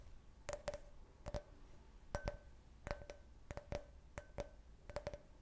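Fingernails quickly tap a clear, hollow, empty can-shaped beer glass with a printed logo, about fourteen sharp clicks falling mostly in quick pairs. Each tap gives a brief glassy ring centered near 590 Hz that dies away almost at once.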